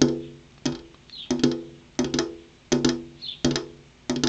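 Fingernails tap on a glass window pane, producing sharp, bright clicks with a short, hollow tonal ring that fades quickly. The taps come in loose, uneven clusters of single and double strikes separated by quiet pauses.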